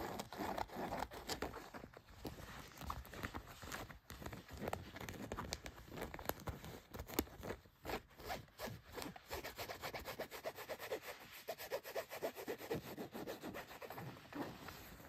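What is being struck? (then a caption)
Denim jeans fabric. Fingertips and nails rub and scratch blue denim jeans near the front pocket and back pocket. The result is a steady run of dense, rapid scratching and rasping strokes with a broad, bright texture, each stroke short and dry.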